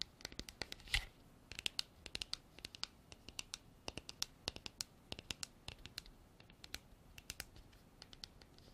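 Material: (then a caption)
Plastic. Long black artificial nails tap and scratch the sides of a hand-sized, hollow, empty-looking white frosted hard plastic container with an embossed texture. Quick, bright clicks and short scratches come in an uneven stream over a quiet background, each dying away almost at once, with one louder scrape near the start.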